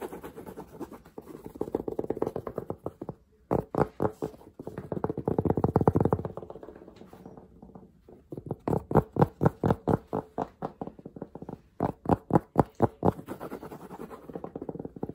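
A green baseball cap of cotton or suede-like fabric with a woven patch, hollow and soft, is held in the hands and scratched and tapped with fingertips and short nails. Fast, irregular bursts of dull, muffled taps alternate with soft rasping scratches, all low and without bright ring.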